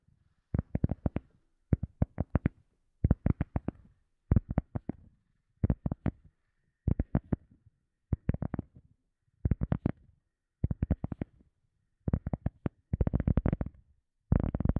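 A round, solid, soft teal EVA foam sponge disc is held close to a microphone and tapped and scratched with fingertips and short nails. It gives short bursts of quick, dry, low thuds separated by brief silences. Toward the end the bursts turn into denser scratching flurries.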